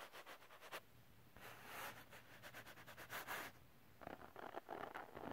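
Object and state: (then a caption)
Glitter cardstock scratched. Fingernails quickly scratch a textured glitter cardstock sheet up close, making a dense run of dry, gritty scratches. Soft rapid strokes swell into louder, brighter rasping bursts, then break into quick, choppy scrapes toward the end.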